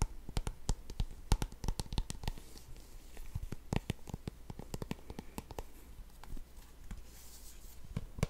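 A small, apparently full white and yellow squeezable plastic tube of hand cream is held close to the microphone and tapped and scratched with fingertips and short nails. Quick, irregular, sharp clicking taps are mixed with soft scratchy rustling over a steady low hum.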